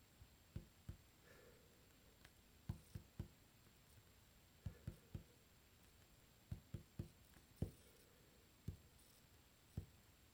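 Fingertips tap and drum on a solid, dark varnished wooden tabletop, making quiet, dull, low knocks in loose clusters of two or three. Each tap dies away almost instantly, leaving near-silent pauses between the bursts.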